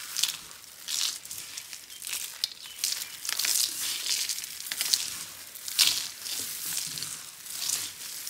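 A large heap of crumbled orange and yellow dry soap flakes is rubbed, pressed and crushed flat with both palms and fingers on a dark ribbed board. Dry, bright crinkling and crunching rises and falls in overlapping bursts, with almost no low end and no ring after each press.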